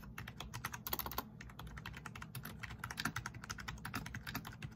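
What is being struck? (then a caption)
Plastic membrane computer keyboard. Both hands type fast with their fingertips on a full-size black plastic RGB membrane keyboard with a rainbow backlight, resting on a wooden desk. Rapid, overlapping key taps make a dense stream of short, bright clicks with very little ring. A low, steady rumble runs underneath.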